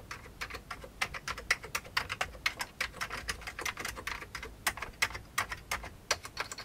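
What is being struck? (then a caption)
Plastic computer keyboard. Both hands type continuously with the fingertips on a full-size old beige plastic computer keyboard. The result is a steady, fast stream of short, dry, bright key clicks with almost no ring or low end.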